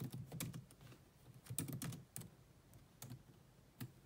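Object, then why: Plastic laptop keyboard. Steady two-handed typing with long nails on a grey laptop's black plastic chiclet keyboard. The quiet, soft key taps carry a low, dull thud with brief bright clicks on top, each dying away almost instantly.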